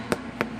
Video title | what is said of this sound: Sourdough Sandwich Bread | another trick to tell to show you if the bread is done is if it sounds Hollow